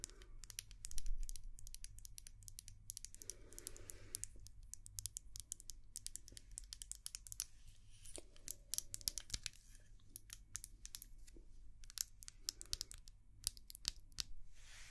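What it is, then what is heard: Glass candle jar. A small white glass candle jar filled with wax is tapped all around its sides with long nails, and its lid end is sometimes visible. The result is a rapid, dense stream of sharp, bright clicks and ticks with very short ring. Brief softer scratchy patches are heard over a steady low hum.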